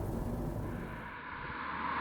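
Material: Nothing is struck.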